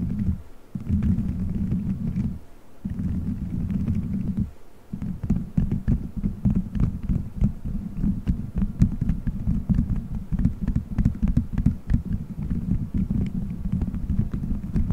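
Fingertips squeeze, rub and scratch colorful gelatin gummy bears stuck all over a solid dome-shaped microphone head. The result is a dense, muffled low rumble and squish, with many small sticky clicks and short ticks on top. Brief quiet gaps fall in the first five seconds before the rubbing continues steadily.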